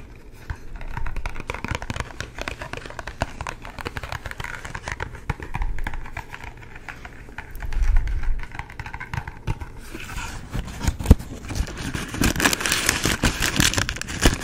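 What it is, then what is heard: Cardboard incense box. A long, thin, hollow cardboard box of white sage incense is held in both hands close to the mic while fingertips rub and tap along it. Many quick, dry taps with almost no ring come through over a low, hollow rumble, with brighter scratchy rubbing toward the end.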